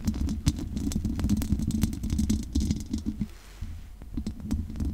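Long nails scratch and tap the hollow metal mesh grille of a large condenser microphone, making a dense, boomy low rumble scattered with sharp, bright clicks. The scratching dips quieter for a moment near the middle, then resumes at the same steady intensity.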